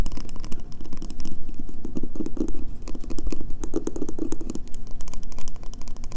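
Painted fingernails tap rapidly on the scratched, embossed face of a solid, pale green bar of soap held up close. A dense stream of quick, dull clicks with short, scratchy bright edges runs continuously over a soft, muffled low body, each tap dying out almost at once.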